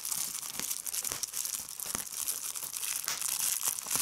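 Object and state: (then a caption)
Plastic bubble wrap. A clear plastic bubble wrap sheet is pinched between a thumb and fingers with long red nails, popping its bubbles as the film crinkles. Steady, bright crinkling runs throughout with almost no low end, punctuated by short, sharp pops that die away almost instantly.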